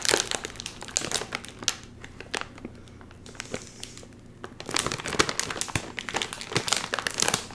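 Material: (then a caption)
Metallized plastic. A full, sealed red and white metallized plastic chip bag is pulled apart at its top seal with fingers, giving off dense, bright crinkling and crushing crackles. The crinkling eases into a quieter stretch with only scattered rustles midway, then returns in a loud burst of sharp crackles through the end.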